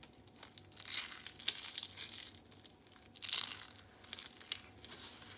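Purple and white dry soap curls are squeezed in the palms and crumbled into a pile of flakes, then fingertips rub the pile. Bright, dry crinkling and crunching come in short bursts with sharp clicks and almost no low end.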